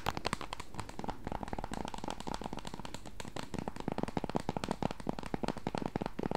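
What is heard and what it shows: Long acrylic nails tap and scratch the back and edges of a small, solid pink plastic protective case with a kickstand on a Nintendo Switch Lite. The result is a dense run of quick, dry clicks and scrapes over a low hum. Each tap stops almost at once, with a mid-range knock around 800 Hz.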